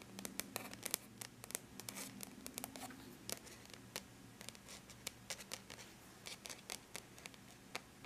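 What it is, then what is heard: Aluminum laptop lid. Long bare natural nail tips tap and lightly scratch a flat silver-gray computer surface, likely an aluminum laptop lid. Dozens of quick, dry, bright clicks land at an uneven pace over soft scratching, with each tap stopping almost instantly. A faint steady low hum runs underneath the quiet sound throughout.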